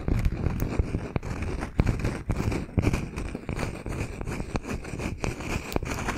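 Fingernails of both hands rapidly tap and scratch a palm-sized, round solid wood slice with a bark rim. The result is a dense, continuous stream of dry, low-heavy knocks with sharp clicks and a scratchy texture between them, each tap dying away almost instantly.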